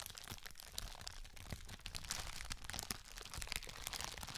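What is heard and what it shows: A flat, clear plastic sheet of bubble wrap, about A4 size, is held in both hands close to the microphone and crinkled and rubbed with the fingers. The result is a dense, continuous stream of bright crinkling and crackling, with sharp snaps scattered throughout over a low handling rumble.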